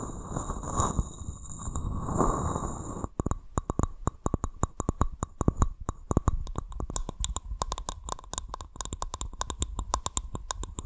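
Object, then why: Small wooden cup. A small, hollow, polished wooden cup with visible grain, held upside down near the microphone, is scratched and cupped with the fingers, making a low, rumbling rub for the first three seconds. Long nails then tap it in a rapid, uneven series of sharp, dry, hollow clicks with a deep body and no ring.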